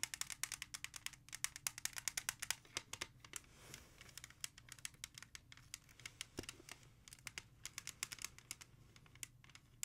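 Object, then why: Plastic CD jewel case. Long nails rapidly tap and scratch the back cover of a single hollow plastic CD jewel case held in both hands. The result is a dense run of sharp, bright clicks that die away almost instantly, with faint scratching between them over a quiet low hum.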